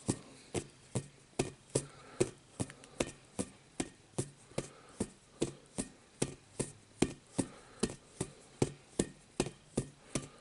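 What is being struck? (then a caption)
Inflatable vinyl play ball. Fingertips tap a rainbow-coloured hollow inflatable vinyl play ball held close while it is turned, making 28 short, dull, hollow taps at a loose, somewhat uneven pace. Each tap is a soft thump with a quick bright click on top that dies away almost at once, with faint rubbing between taps.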